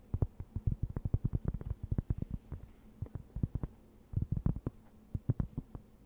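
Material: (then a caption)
Cork. Long nails scratch a thin, round, plate-sized cork board, solid and flat, held close in front of the microphone. The result is a rapid series of short, dull, low thumping scratches in bursts with brief pauses, with almost no bright content and no ring after each stroke.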